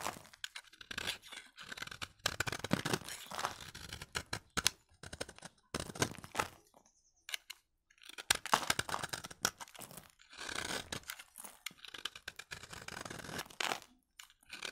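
A utility knife blade scrapes thin, crunchy flakes from the edge of a solid, pale yellow, dry vintage bar of soap held in the hand. Quick, dry scraping bursts with a bright, crackly hiss come in bunched runs separated by brief pauses. There is almost no ring after each stroke.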